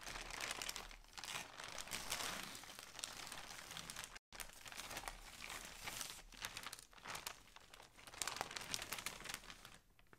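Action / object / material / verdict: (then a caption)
scrape / polyethylene shipping mailer bag / plastic / none. Hands grip, crumple and open a large grey polyethylene shipping mailer holding clothing on a table. Bright, crackly plastic crinkling runs nearly continuously, with a brief full dropout to silence just after four seconds. The rustling swells again and fades softly at the end.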